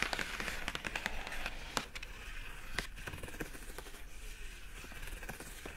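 Long acrylic nails scratch and rub the lid of a hollow, pink printed rigid cardboard product box with a rope handle. Dry, crackly scrapes and quick taps sound over a steady papery hiss, loudest at the start and softening into a quieter, continuous rubbing.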